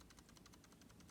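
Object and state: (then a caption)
Plastic computer mouse, shell secure with slight scroll-wheel rattle. A plastic Razer Basilisk Ultimate gaming mouse, its finger pad secured with masking tape, is shaken as a test. About a dozen quick, faint, bright rattles pulse over a low steady hum. Only a slight rattle remains, attributed to the scroll wheel rather than the finger pad.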